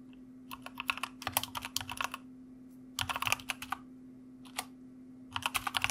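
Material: Plastic.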